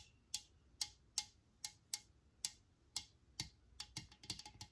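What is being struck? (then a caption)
Metal aerosol can. A handheld Lysol metal aerosol can is tapped on its body with long nails, giving 13 sharp, bright metallic clicks with almost no ring. The taps come at a slow, steady pace at first, then quicken into a faster cluster toward the end.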